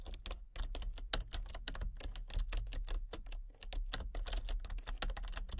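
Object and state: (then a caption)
Plastic computer keyboard being typed on. Fingertips with long nails tap quickly across the keys of a full-size plastic computer keyboard with color-changing backlit keys and a hollow body. The result is a rapid, uneven stream of light, bright clicks over a steady low hum.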